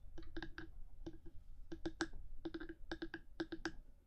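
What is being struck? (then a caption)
Binaural microphone body with hard plastic housing. Long fingernails on one hand tap and scratch the top of a black, hard 3Dio binaural microphone housing. About sixteen crisp clicking taps come in quick clusters, each with a short hollow knock near 330 Hz and a bright edge, over a steady low rumble.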